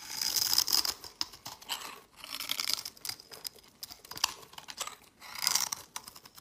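A utility knife blade carves and scrapes shavings from the corner of a palm-sized, translucent yellow glycerin bar soap held in hand. The sound is a series of crisp, bright scraping and crunching strokes, with louder bursts separated by quieter moments of fine crackling. There is almost no low end, and each stroke stops dry with no ring.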